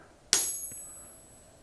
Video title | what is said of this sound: Triple-T #171 - How to get started at bladesmithing | haré la prueba de rebote en este que no es compatible o no está atado, escuchas cuánto más suena